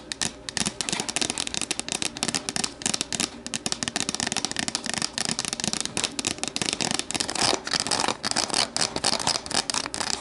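Long nails rapidly tap and scratch the sides of an empty, hollow, translucent plastic deli container as it is tilted and then set upright. The result is a dense, steady stream of crisp, bright clicks and scraping rasps with very little low end, each tap dying away almost at once.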